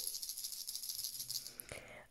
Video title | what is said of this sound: Tuto Crochet " Hochet Bébé ou Anneau de Dentition" (La Vache) | Donc avec les petites clochettes, ça fait du bruit quand on secoue.